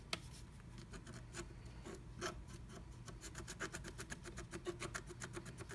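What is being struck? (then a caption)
Scratch art paper with wooden stylus. A wooden stylus scratches flat black scratch art paper inside a diamond-shaped cut-out of a plastic stencil held down by fingertips. Quiet, dry scratching strokes come as short bright bursts, speeding into a quick, steady rhythm in the second half over a soft low hum.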